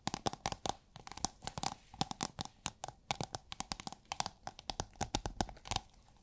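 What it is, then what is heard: Thin plastic film rolled into a tube. Long nails tap and scratch a thin holographic plastic film rolled into a hollow tube and held horizontally. A rapid run of dozens of short, crisp, crinkly taps and scrapes follows, each dying away almost instantly, with a faint hollow tone near 760 Hz and bright plastic rustle on top.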